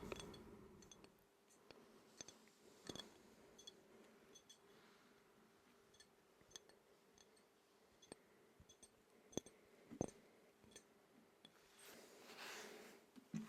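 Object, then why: Sports medal. A relay medal is tapped, giving a series of quiet, short, sharp clicks and ticks at irregular intervals over a faint steady low hum. Near the end, a brief soft rustling swell rises before a final tap.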